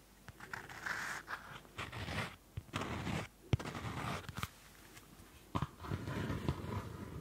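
Fingertips rub the card cover of a small Field Notes pocket notebook, a card cover over paper, close to the mic. Dry, papery scraping comes in uneven bursts with short quiet gaps between them. A few sharp ticks stand out where the fingers catch on the cover.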